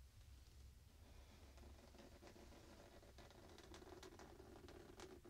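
A hand scratches with fingertips and nails across the printed surface of a square, soft pillow in a printed fabric case. The quiet, continuous scratchy rustle sits over a low, steady rumble, with brief bright scratch strokes and a faint tone near 350 Hz growing stronger in the second half.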